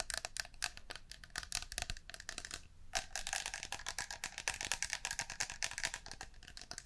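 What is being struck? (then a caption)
Metal aerosol shaving foam can. A blue and green metal aerosol can of shaving foam with a white cap, at least partly full, is held in both hands and tapped and scratched along its body and cap with long painted nails. A rapid run of dense, bright clicks and taps comes with short scratchy strokes, each dying away almost at once, with a brief quieter pause midway.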